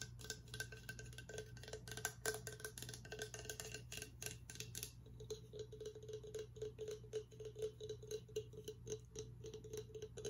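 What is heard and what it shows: A hollow, empty, cream-coloured horn-style Viking drinking mug with a handle, about 25 cm long and looking like horn though possibly resin imitation, is held sideways and tapped and scratched with fingertips and nails along its outer surface. The first half is dense, bright scratching mixed with taps. After that come quicker, more separated light taps with short hollow clicks, all over a steady low hum.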